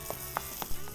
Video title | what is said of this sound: How To Make The Best Chicken Quesadillas | ถ้าผมเคาะดูคุณจะได้ยินเลยว่าผิวมันแข็งและกรอบมาก